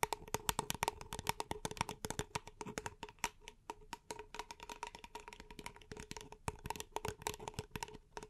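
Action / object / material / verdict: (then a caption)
tap / paper cup / paper / none. A small, empty, hollow paper cup held in both hands is tapped and scratched with long nails. It makes a rapid, uneven run of short, dry, clicky taps with a faint hollow tone near 900 Hz, mixed with bright scratching between the hits.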